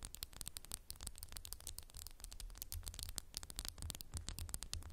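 Fingernails tap quickly and continuously on a candle in a textured glass jar, making quiet, dense, bright clicks with very short, dry decay. A steady low rumble sits underneath the taps throughout.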